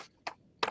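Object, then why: Paper book. A book is tapped to make its otherwise unseen vibration audible. Two short, dry knocks are heard, each with a midrange body around 1 kHz and a bright edge that dies away almost at once.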